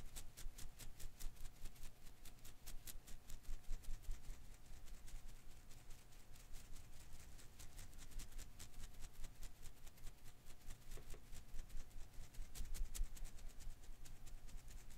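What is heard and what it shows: Fingers quickly rub and flick the strands of a hand-sized blue and green rubber-filament Koosh ball held in one hand. The result is a quiet, continuous run of soft, irregular rustling pats and brief bright ticks over a faint steady hum.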